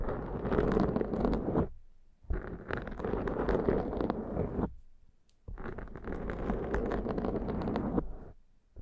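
Long, dark-painted nails and fingertips of both hands scratch and rub a large, soft, porous black foam windscreen over a Zoom microphone. The result is three bursts of dense, crackly, muffled scratching, heavy in the low and mid range, separated by short silent pauses.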